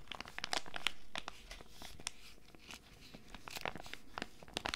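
A small flat foil sachet holding an Animalz tiger sheet mask is held in both hands and crinkled and scratched with long red nails. Irregular bursts of bright, crackling crinkles and sharp scratches come in quick succession over a low, soft rumble.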